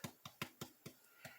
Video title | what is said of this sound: The Best Bread on Youtube + kneading tutorial | thump the top and you hear that hollow tap. That tells you that it is baked all the way through.